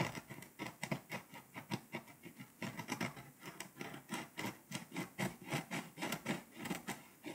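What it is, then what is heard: Foil-coated paper scratch-off map. A pink scraper tip scratches the foil coating off the paper over Lithuania on a flat scratch-off map in quick, short strokes. Each stroke is a dry, bright, rasping scratch that stops almost at once, and the strokes repeat in a steady rhythm throughout.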